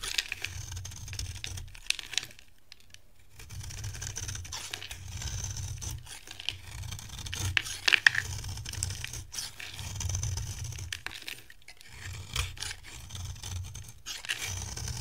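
A beige oval bar of dry solid soap, held in the hand, is scraped with a metal utility blade so flakes fall off. Repeated dry, bright scraping strokes come in bursts over a soft low rumble, with short quiet pauses between passes.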